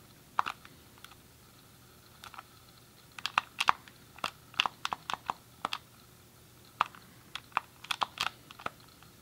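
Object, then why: Plastic game controller. A grey hollow plastic SNES game controller is held in both hands while the thumbs click its D-pad and face buttons. About two dozen sharp, dry plastic clicks come in irregular bursts with pauses between them. Each click is brief and bright, centred around 1.1 kHz, with almost no ring and little low end.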